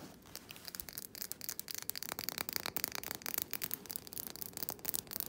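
Fingernails scratch and rub the labelled bottom and glass neck of a small wax-filled glass jar candle. The result is a quick run of dry, bright scratching strokes with no ring, mostly high-pitched with very little low end.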